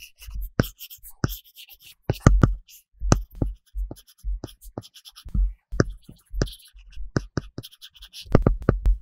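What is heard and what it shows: A plastic Apple Pencil tip is drawn in short coloring strokes across an iPad's large glass screen, which is covered with a solid, matte paper-texture plastic film. A quick series of dry, scratchy writing strokes and light taps follows, each one short and dull with almost no ring.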